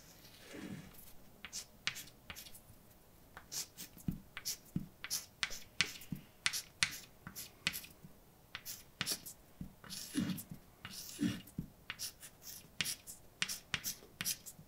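A hand writes a new line of white chalk across a mostly empty dark blackboard. Quick, bright taps and short, scratchy strokes come in an irregular run, each dying away almost instantly, with a few longer, rougher scrapes between them.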